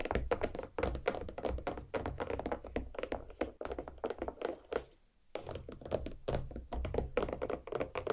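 Both hands' nail tips tap rapidly on the rind of a large, solid watermelon half resting on a plate. The result is a dense stream of short, dull, hollow-toned thunks with a midrange pitch near 480 Hz and almost no ring, broken by a brief pause around the five-second mark before the tapping resumes.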